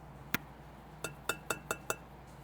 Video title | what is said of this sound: Clay Stages | there's a different sound that it will make if you tap on it